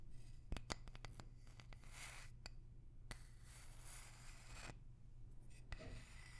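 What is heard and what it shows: A small, light wooden block held up close to the mic is tapped with long nails, giving sharp, dry clicks that stop almost instantly. Between the taps are soft, bright scratchy swishes, all over a steady low hum.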